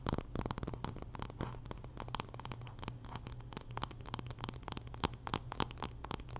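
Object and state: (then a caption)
Wooden paddle hairbrush scratched. Long nails scratch along the wooden back and handle of a solid wooden paddle hairbrush held flat. The result is a rapid run of dry, short scraping strokes with bright edges over a steady low hum.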